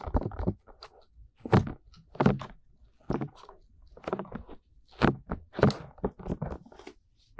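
Fingertips tap and rub the soft, hollow-shaped silicone ear molds of a 3Dio binaural microphone, producing close, muffled thumps with soft rubbing in between. The dull hits carry most of their weight in the low end and fade quickly.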